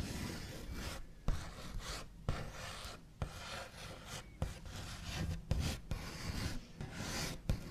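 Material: Wood.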